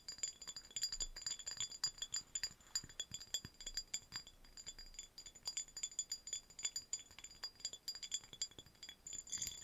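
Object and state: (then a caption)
Cut glass vase. A tall, hollow, empty cut-crystal vase on a stem is held in both hands and tapped and scratched with long nails, with rings on the fingers. It makes a rapid, steady stream of quiet, bright glassy clinks and ticks that die away almost at once, mixed with light scratching.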